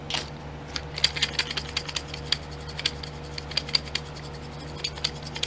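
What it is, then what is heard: Plastic glitter pot lids. A fingernail scratches and taps the lids of small clear domed plastic nail glitter pots set in a pink plastic tray. There are 22 quick, bright, clicky ticks with very short ring, mixed with light scratching over a faint steady low hum.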